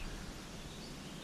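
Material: Nothing is struck.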